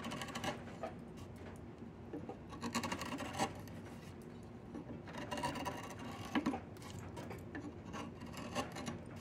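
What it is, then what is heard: Diamond willow branch being carved. A wide chisel scrapes and carves the surface of a solid diamond willow branch being made into a walking stick. Dry, rasping strokes come in irregular bursts over a low, steady background. Brief brighter scraping peaks stand out from the steady rasp.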